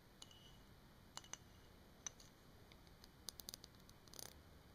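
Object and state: Glass bottle tapped with fingernails.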